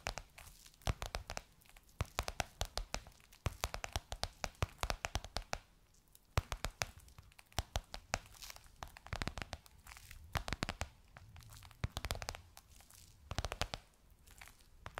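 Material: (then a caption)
Faux leather. Long nails tap and scratch a gold crocodile-embossed faux leather pillowcase on a soft cushion. Quick, dry clicks and crackly scratches come in clusters with brief quiet gaps across the clip. Each sharp hit dies away almost instantly, with a low, soft thud under the bright crackle.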